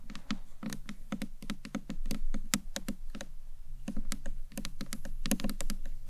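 Long nails tap and knock on the top and upper face of a small hollow green marbled acrylic box clutch purse. A steady stream of quick, dry clicks rings out, each with a hollow, low knock around 200 Hz and a bright tick that dies almost instantly. The tapping is rapid and uneven, like typing.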